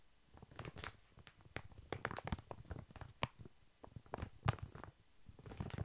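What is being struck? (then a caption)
Soft pack of baby wipes in thin plastic film. A large, full, soft pack of baby wipes wrapped in thin plastic film is held upright and lightly tapped with long fingernails. Quick, quiet, dull taps with a faint crinkly edge fall in uneven clusters. Each tap dies away almost instantly.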